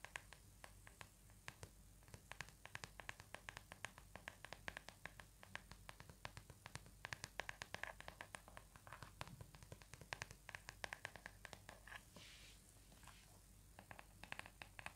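A small plastic paddle hairbrush with a plastic back and pink plastic bristles is scratched across the bristles and tapped on the back with fingertips and nails. Quiet, dense, short, dry clicks and bright scratchy ticks sound throughout, with a softer brushing rustle near the end.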